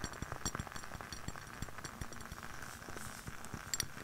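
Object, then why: Glass candle jar. Long nails tap the clear glass walls and rim of a lit candle in a glass jar with white wax and a label, held close to the mic. The result is a rapid, irregular series of short, bright clinks with soft low thuds underneath, each tap dying away almost instantly.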